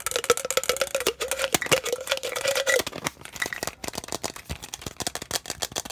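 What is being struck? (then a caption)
Plastic tumbler with lid and straw. A clear plastic tumbler with a blue lid and straw is held in the hands and tapped quickly with the fingertips on its bottom, lid and sides. The result is a dense, rapid run of short, dry, bright plastic clicks and taps. A faint steady tone near 500 Hz sits under the first three seconds before the tapping continues on its own.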